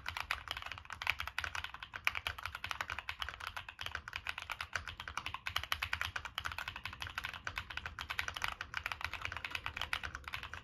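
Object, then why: Mechanical keyboard with aluminium case and plastic keycaps. A Monsgeek M1 mechanical keyboard with a black aluminum case, plastic keycaps and NK Cream switches is typed on continuously with fingertips. It makes a rapid, steady stream of short, bright clacks that stop dead with no ring, plus a soft low thump under each press.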